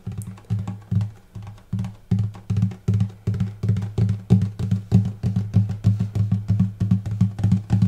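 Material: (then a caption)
Spruce wood. Fingertips tap the upper bout, above the bridge, of a hollow wooden acoustic guitar with a light spruce top; the strings are not plucked, though they may ring slightly. The taps come in a quick, loosely steady run of low, hollow thumps centred near 105 Hz with almost nothing bright above. Each thump dies away in a fraction of a second.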